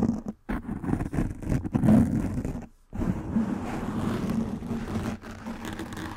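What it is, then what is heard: Foam microphone windscreen being scratched. Fingernails and fingertips scratch and rub a soft black foam windscreen covering a microphone head, making a close, muffled, continuous scratching and rubbing with a low hum-like tone around 215 Hz and almost nothing above 2 kHz. The rubbing pauses briefly near 0.4 and 2.8 seconds before resuming steadily to the end.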